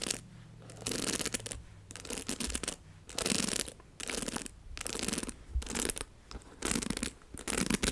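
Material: Plastic.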